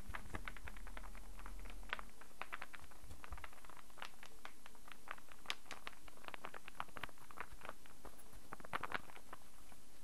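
A solid light-wood star-shaped interlocking burr puzzle is held in both hands while fingertips and nails tap on it and its pieces click. A steady stream of quick, dry, bright taps and clicks runs throughout over a low background rumble.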